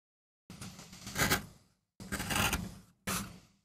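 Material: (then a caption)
MDF. A wooden-handled gouge makes scraping cuts into a small, flat, solid MDF relief printing block, held by the other hand on a rubber mat. Three separate gritty, bright scraping strokes are heard, with silence between, each swelling and then tapering off. A fourth stroke begins at the very end.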